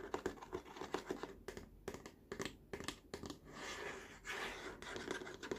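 Fingertips and short nails tap and scratch the underside of a large, hollow, molded green plastic tray edge on a baby walker, near the logo. Quick, dry, hollow taps with a mid-low tone and almost no ring come in uneven clusters. They alternate with brief stretches of bright, rasping scratching.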